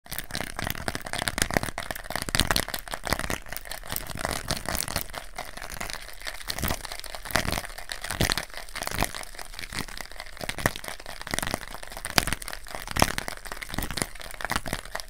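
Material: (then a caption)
Plastic. A small, flat white plastic infrared remote for RGB lights, with many colored rubber buttons, is held in both hands while fingertips and nails rapidly press, tap and scratch the buttons. The result is a dense, steady stream of dry, crinkly clicks and scraping ticks with a bright edge, each one cutting off instantly with no ring.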